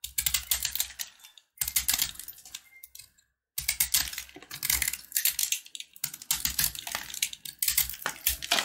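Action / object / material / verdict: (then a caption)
scrape / sugar-coated peanut brittle bar / sugar candy / none. A box-cutter blade scrapes the crunchy coating of a solid red and white sugar-coated peanut brittle block held in the hand. Rapid, bright, crisp scratching and crackling comes in dense bursts separated by brief pauses, with a faint low thump under some strokes.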